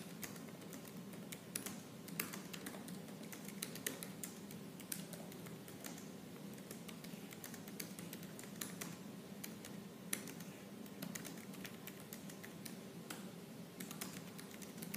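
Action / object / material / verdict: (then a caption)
tap / laptop keyboard with plastic keys / plastic / none. Fast, aggressive typing with fingertips and purple-painted nails on the black plastic keys of a silver laptop. It produces a dense, steady stream of sharp, bright clicks with a low, muffled hum underneath. The clicks end almost at once, with only a few louder taps standing out.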